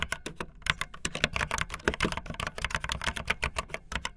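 Fingertips with long nails type fast on a backlit optical linear mechanical keyboard with white and blue plastic keycaps. Roughly 26 quick, sharp keystrokes sound in a steady stream, each a bright plastic clack with a dull low thud beneath and almost no ring.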